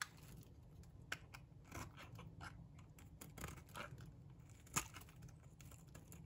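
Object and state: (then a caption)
Dry bar soap being shaved. A metal box-cutter blade shaves flakes off a solid, dry pink bar of soap. Quiet, dry scraping and crumbly crunching strokes repeat over a low rumble, with a few sharper, bright clicks standing out as the blade bites in.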